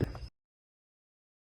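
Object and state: Nothing is struck.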